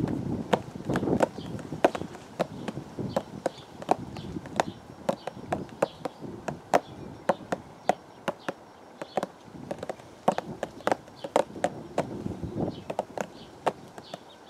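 A hollow purple cardboard teacake box, held flat against the chest, is tapped with the fingertips of both hands. The result is a quick, irregular run of short, dry, hollow knocks that die away almost instantly, with a muffled body around 650 Hz and a faint low rumble underneath.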